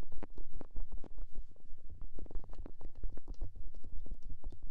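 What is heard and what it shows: Fingers with dark painted nails tap, rub and cup the small soft white silicone ear on the side of a white SR3D binaural microphone box, close up. The result is a dense run of muffled, deep thumps and soft rubbing bursts with a boomy low rumble around 74 Hz and almost nothing bright. The touches come in quick, uneven succession throughout.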